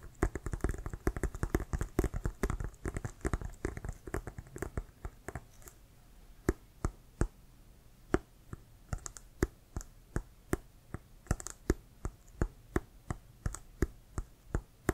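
Fingertips and nails tap and scratch near the white laces of a hollow, inflated Wilson brown leather American football. A rapid flurry of dull, low thumping taps fills the first few seconds, then slows into evenly spaced single taps, each short and dry with a faint bright click on top. Quiet gaps sit between the later taps.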